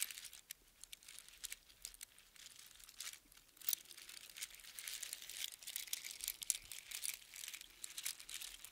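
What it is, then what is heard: Strand of seashells on string. A strand of small hollow seashells on a string is held close in cupped hands and crunched and rattled by the fingers. The result is a quiet, dense stream of bright, crisp clicks and crinkling rattles with almost no low end, swelling in busier bursts toward the middle and end.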